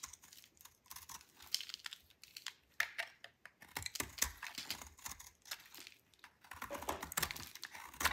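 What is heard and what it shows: A metal utility knife blade cuts and shaves a solid, dry white soap bar. The result is a rapid series of crisp, bright scraping and crunching strokes, each short and dry with almost no ring and very little low end.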